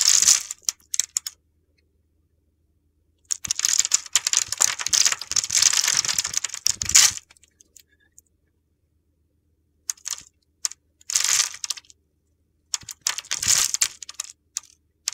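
A utility knife blade carves a solid red translucent bar of soap with a scored grid, held in the hand, flaking off small cubes. The sound is dry, crisp crunching and gritty scraping, bright and high with almost no low end. It comes in bursts separated by silences, with the longest stretch in the middle of the clip.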